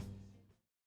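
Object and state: Nothing is struck.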